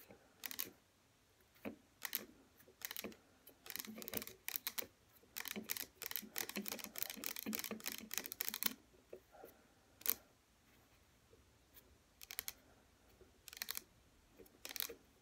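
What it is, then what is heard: Plastic serum bottle tapped with fingernails. Long fingernails tap fast on the front and sides of a small pink plastic hair serum bottle standing upright and holding liquid. The sound is quick, dry, bright clicking in bursts, with a dense run in the middle and short quiet gaps between. Each tap stops at once, leaving no ring.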